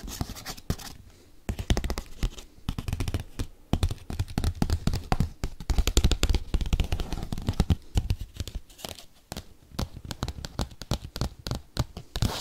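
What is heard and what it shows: Paperclips tap and scratch quickly across a padded bubble mailer envelope. Dull, low thuds mix with crisp scratchy strokes in a fast, irregular rhythm throughout the clip.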